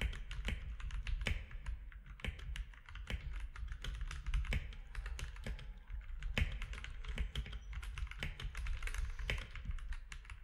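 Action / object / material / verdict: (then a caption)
tap / mechanical keyboard with plastic keycaps / plastic / none. Both hands type steadily with their fingertips on a compact mechanical keyboard with plastic keycaps. A fast, continuous stream of short, sharp keystrokes sounds, each with a bright click on top of a deep, thumpy low end. The clicks die away almost instantly, with no ring between strokes.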